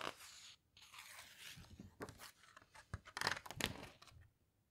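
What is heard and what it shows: A flat hand with long red nails rubs and squeezes the glossy right-hand page of an open hardcover guitar book, then turns it. Soft, bright paper rustling and crinkling comes first, with a brief silent gap, followed by sharper, louder crackles as the page is turned. The sound then fades to quiet.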